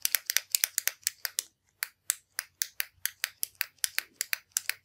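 A slim, hollow orange metallic retractable ballpoint pen with chrome parts is held in one hand over a wooden desk while the thumb repeatedly presses its push button. About 25 sharp, dry, bright clicks come in a quick, uneven rhythm, some paired closely together. Each click stops almost instantly with no ring.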